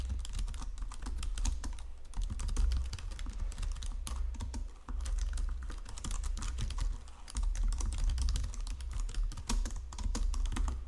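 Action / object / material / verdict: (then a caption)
tap / plastic computer keyboard / plastic / none. A white plastic Logitech full-size keyboard resting on marble is typed on by fingertips with long nails. Continuous, rapid key tapping produces short, sharp clicks with bright high edges over a steady low hum. No verdict or reason is given.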